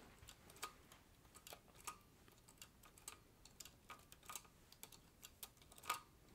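Fingertips press the keys of a green vintage Olivetti Lettera 32 portable typewriter with a metal body. The result is quiet, irregular typing: sharp, bright clacks, some louder than others, a few leaving a brief metallic ring around 1.2 kHz.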